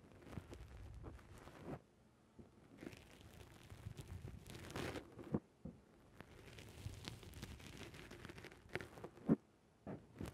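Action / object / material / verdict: scrape / foam microphone windscreen / foam / none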